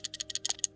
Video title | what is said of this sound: "OH-NO!" PSA PRICE INCREASE! Dont Panic! Lets Go Over The PSA Update E-Mail Sent From PSA THEMSELVES | you can hear the card moving around